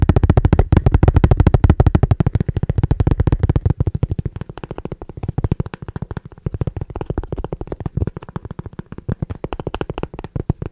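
Fingertips and nails tap and scratch the edge and face of a round, flat, solid cork disc about coaster size, held between the fingers close to the mic. A fast, uneven stream of soft, dull, low-pitched taps with almost no ring follows, loud and dense at first, then quieter and more spaced out after about four seconds.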